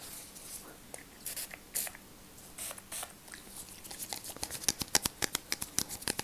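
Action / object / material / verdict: tap / small plastic bottle / plastic / none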